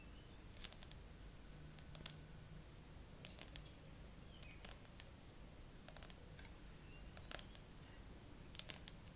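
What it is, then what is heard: Smartphone glass back tapped with nails. Long nails on both hands tap slowly across the glass back and camera bump of a bare graphite iPhone with a metal frame, held in a tripod holder. Short, sharp, bright clicks come in scattered clusters over a quiet, steady low background hum, and each tap dies away almost at once.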